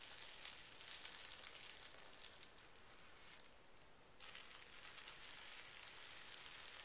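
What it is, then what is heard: Tissue paper being folded and smoothed. A thin pink tissue paper sheet, folded into a flat rectangle on carpet, is smoothed and folded with fingertips and palms with short painted nails, making a bright, hissy crinkling rub. The crinkling softens into a quieter, smoother rub in the middle, then abruptly returns louder and continues steadily to the end.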